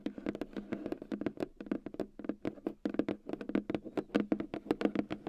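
Long dark-red painted nails tap and scratch across the lid of a long, flat, white cardboard retail box with a keyboard packed inside, lying on a fur rug. A rapid, uneven run of short, dry, hollow taps, about 33 in all, each with a mid-low body, a bright click on top and almost no ring.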